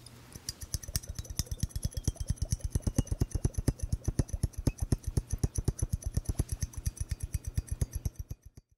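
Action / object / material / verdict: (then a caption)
tap / glass bubble hourglass / glass / none. A glass bubble hourglass is tapped in a steady, rapid run of about 66 short, dull taps, each a low thump with a faint bright click on top. The taps fade quickly, keep an even pace for about eight seconds, and then stop.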